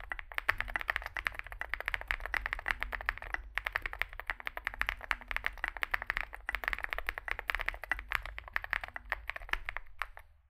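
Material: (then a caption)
Plastic. Fingertips type continuously on a small 65% Zoom65 mechanical keyboard with a dark case and white and grey SA plastic keycaps. Rapid, dense keystrokes give sharp, clacky plastic clicks centred around 1.8 kHz with bright tops, each dying away almost instantly. A steady low rumble runs underneath, and the typing pauses briefly a couple of times.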